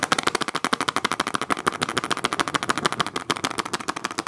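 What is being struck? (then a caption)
Plastic food container filled with water beads. Long acrylic nails rapidly tap and scratch a small clear rectangular plastic food container with a blue lid, filled with teal water beads. The result is a fast, dense stream of sharp, bright plastic clicks with a slight rattly scrape and almost no ring or low end.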